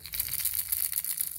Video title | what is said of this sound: February 6th Sense unboxing.... | you have a heavy thud and you have a loud rattle